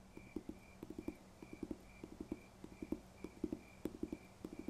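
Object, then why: Paper textbook. Fingers tap on a paper textbook in quick, uneven bursts of soft, dull knocks with almost no ring. A faint steady high hum runs underneath.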